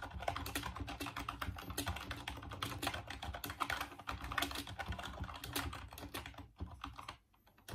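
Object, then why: Plastic computer keyboard. Fingertips type steadily on the keys of a full-size off-white plastic Dreamcast computer keyboard. Rapid, clustered plastic clicks and clacks with a low thocky body and bright key rattle run for about seven seconds. The typing then briefly stops and the sound drops to near silence.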